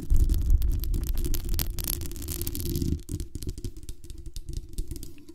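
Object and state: Metal mesh microphone grille.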